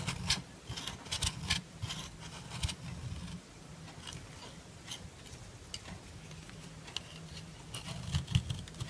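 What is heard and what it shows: A dark metal file scrapes along the edges of a solid white bar of soap, producing fine white powder. Short, bright rasping strokes come in clustered bursts over a steady low hum, with a quieter stretch in the middle before the scraping picks up again near the end.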